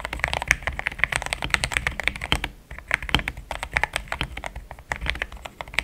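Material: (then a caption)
Plastic. Fingertips type in steady taps on a pink-framed compact mechanical keyboard with thick cream XDA plastic keycaps, a polycarbonate plate, linear switches and a hollow case. Dense, short, bright clacks follow one another quickly, with a brief lull near the middle and almost no ring after each key.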